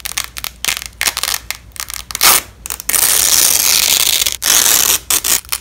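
Black-gloved hands press and peel apart a yellow and black nylon hook-and-loop fabric strap, making crunchy, bright crackling and tearing. Short, scattered crackles come first, then a long sustained rip and a second shorter one, before a few final quick crackles.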